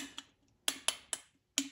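A second ceramic vessel part is tapped five times with a metal wedding band at different spots around it, giving short, bright clicks that die away almost at once with a faint low tone near 280 Hz. The taps sound different from the first part and change from spot to spot, revealing a hairline crack that needs attention and shows when the part is flexed slightly.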